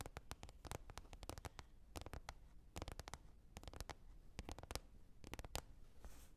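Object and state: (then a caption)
Lid tapped. Quick, irregular taps on a lid come in clustered bursts with brief pauses between them. Each tap is a short, dry click that dies out almost instantly, with a soft low thud underneath and a faint bright edge. The overall level stays quiet and close.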